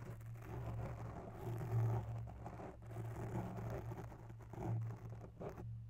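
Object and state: Foam microphone windscreen being scratched.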